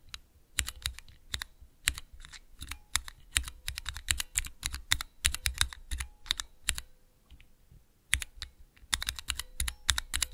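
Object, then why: Clear plastic key switch tester. Fingertips press the keys of a small clear plastic 3x3 Cherry MX mechanical key switch tester, producing rapid, irregular bursts of sharp, bright clicks and clacks. Each press has a soft low thump beneath it and stops almost instantly, with brief quiet gaps between flurries.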